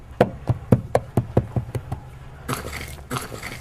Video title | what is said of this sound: Documental sobre el Linaje de Jesucristo | Por el sonido, yo creo que madera. Madera hueca